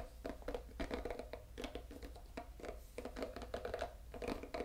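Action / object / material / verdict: scrape / bamboo brush with silicone bristles / silicone / none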